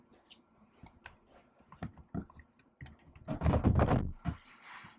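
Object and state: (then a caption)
Laptop keyboard being typed on with nails and fingertips. Long acrylic nails and fingertips type on a silver laptop keyboard with black plastic keys set in an aluminium body. Soft, irregular clicks and dull taps with bright nail ticks come at an uneven pace, then build into a denser, louder flurry of keystrokes before easing off.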